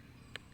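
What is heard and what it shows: An unripe marang fruit is tapped once during the harvest, giving a single short, bright knock around 1.7 kHz that dies away almost instantly over a low, steady background rumble. The fruit is judged unripe by its sound, though this was not confirmed by opening it.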